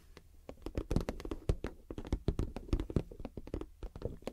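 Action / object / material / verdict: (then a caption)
tap / clear PVC zip pouch / plastic / none. Long acrylic nails tap and scratch the top surface of a medium, clear PVC zip cosmetic pouch with a cactus print, hollow and empty or lightly filled. A quick, irregular run of many short, dull taps with low body and almost no ring is heard, mixed with faint scratching between them.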